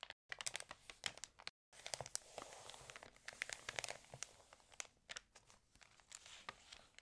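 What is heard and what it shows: Long nails and fingertips scratch, rub and turn the crinkled pages of an open, water-damaged glossy paper fashion magazine. Dense, bright crinkling and crackling fills the clip, dotted with sharp, quick ticks and scratches. The sound stays quiet and thin, with almost no low end and two brief silences near the start.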